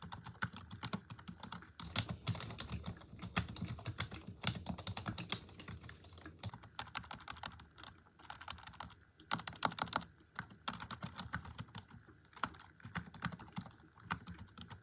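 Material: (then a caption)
Plastic. Long acrylic nails and fingertips type rapidly and continuously on a full-size black plastic computer keyboard resting on a wooden desk. The hollow plastic keys give off dense, short, bright clicks and clacks with a soft low thump, in bursts separated by brief pauses.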